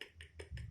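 A spoon pokes and taps the golden skin of food just cooked in an air fryer, making four short, crisp taps with bright, crackly tops over a low, dull thud. The skin sounds crispy and is cooked through to the bottom.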